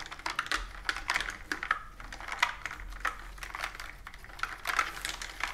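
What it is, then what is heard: Plastic computer keyboard. A plastic computer keyboard with round keys is typed on and its keys tapped with long nails. The result is a quick, uneven run of sharp, dry clicks with a bright, clattery edge, little low end and almost no ring after each tap.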